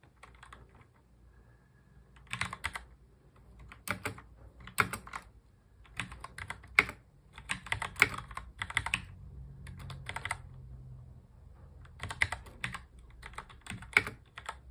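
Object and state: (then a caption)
Plastic mechanical keyboard. Both hands touch-type continuously on a full-size black mechanical computer keyboard with plastic keycaps and a hollow plastic case, resting on a desk. Bursts of bright, clicky keystrokes come in quick clusters separated by short pauses, each click dying away almost instantly over a faint low hum.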